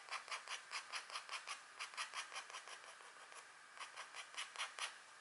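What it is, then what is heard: Wax-coated scratch art card. A pointed green stylus, held by a long-nailed hand, scratches across a flat, thin, black wax-coated scratch art card. The result is a rapid series of short, bright, raspy scrape strokes with almost no low end, easing into a quieter stretch of softer scratching midway before the crisp strokes resume.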